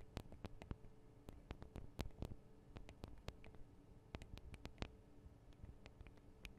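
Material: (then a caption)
Metal. Long acrylic nails of both hands tap on the small hollow metal microphone capsules of a Tascam DR-40 recorder. The result is a quiet, irregular stream of sharp, bright clicks that stop dead with no ring, over a steady low hum.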